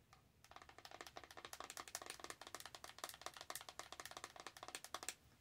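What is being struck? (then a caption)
Small printed cardboard box. A small, hollow printed cardboard cosmetic blush box labeled "He Blushed" is held in both hands and tapped and scratched with long nails. About 25 quick, dry, bright clicks and scratches follow in a steady run, each dying away almost at once, with very little low end. The result is a quiet, crisp tapping texture.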